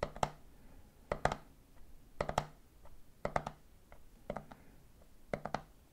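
Fingertips tap rhythmically on the top of a red plastic lid fitted to a medium clear plastic jar full of peanuts. The taps come in quick groups of about three, repeating roughly once a second. Each is a short, dry, hollow plastic knock that dies away almost instantly, separated by quiet pauses.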